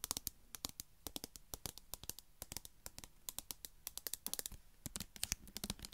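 A small metal vegetable can with a printed green label, held close to the microphone, is tapped with long nails in a quick, uneven run of sharp taps. Each tap is a bright, dry click that dies away almost instantly, with a faint low hum underneath.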